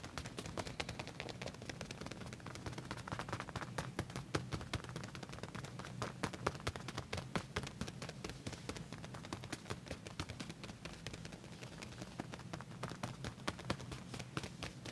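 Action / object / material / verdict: tap / leather pants / leather / none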